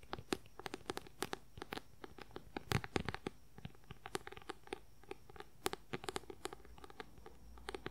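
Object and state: Paperback book.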